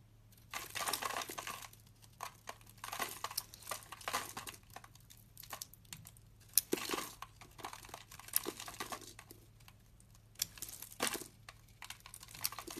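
A solid oval bar of white soap held in the hand is shaved into curls with a metal utility knife blade. Repeated bursts of dry, bright crinkling scraping rise and fade across the clip with short quiet gaps, over a faint low hum.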